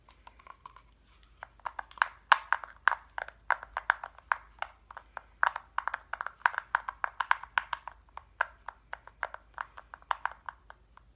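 Fingernails tap rapidly near the number blocks on a hand-held, flat cut-out reindeer decoration made of solid light wood. Dozens of short, dry, clicky ticks centred around 1.5 kHz die away almost instantly, uneven in loudness. A few faint taps open the clip before a steady, louder run continues to the end.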